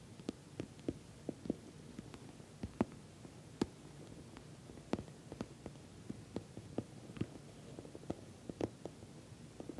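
Long nails tap and scratch the top and corner of a soft-sided, filled, glossy orange patent vinyl cosmetic bag. Quiet, sharp, dull taps come in an irregular scattered series over a faint scratchy hiss, each click dying away almost instantly.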